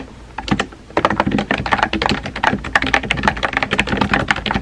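Fingertips with painted nails type rapidly on a compact, hollow-bodied pink plastic mechanical keyboard with round white-and-pink typewriter-style keycaps, resting on a desk. After a quiet start with a couple of isolated taps, a steady run of short, crisp clacks follows, each dying away almost instantly.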